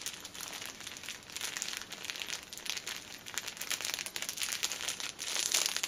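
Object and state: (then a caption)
Cellophane-wrapped pocket tissue pack. A pocket tissue six-pack wrapped in clear cellophane film stands upright while nails scratch across the top and sides of the wrap. The result is a steady, bright crinkling and scratching texture with no low end, rising and falling in small rapid bursts and peaking near the end.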